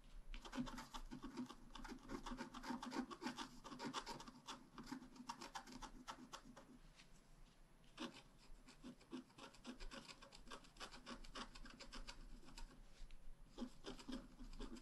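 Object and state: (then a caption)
Wax-coated scratch-art card being scratched. A wooden stylus tip scratches a flat, black wax-coated scratch-art page, about A5 size on thin solid card, resting on a table. Dense, quick, uneven rasping strokes with a low hum around 250 Hz and brighter scratchy detail run throughout, growing louder and quieter as the strokes shift.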